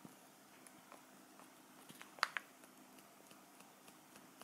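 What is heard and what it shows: A small, round, clear plastic tray with cheese inside is held in the hands and tapped and crinkled with fingertips and nails. Soft, scattered ticks and light crinkles sit over a quiet background with a faint low hum, and two sharp, bright clicks stand out just past the two-second mark. Each click dies away almost instantly.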